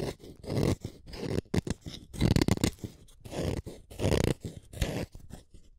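A utility knife blade shaves a small, solid red wooden colored pencil in a series of short scraping strokes. Each stroke is a dry, rasping crunch weighted toward the low end, with quick bursts that stop almost instantly between strokes.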